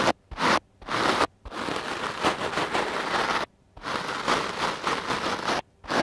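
A large, soft, porous dark-blue foam microphone windscreen, held in one hand, is scratched and brushed with a wooden-backed clothes brush with stiff black bristles. Dry, crackly scraping strokes are heard, some short and some drawn out, separated by brief silences and spread broadly from low-mid up to bright high tones.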